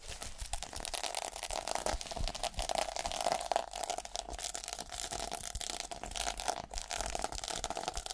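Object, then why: Sequin-covered fabric case. Long painted nails and fingertips scratch and brush back and forth over the plastic sequins of a small, flat, pink reversible sequin fabric case with a black edge, likely a phone case or pouch held in the hand, flipping the sequins. The result is a dense, continuous crinkly scratching with bright, rapid clicks and a steady tone around 700 Hz running throughout.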